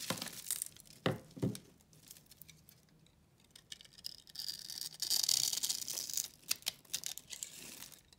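A solid rectangular bar of white soap with a cross-hatch scored face is held in the hand and cut and scraped with a pink utility knife blade, crumbs falling away. Bright, crisp crunches and dry crackling scrapes come in irregular bursts, with a longer, denser scraping stretch in the second half before a few sharp final cuts.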